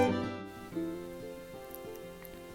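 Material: Nothing is struck.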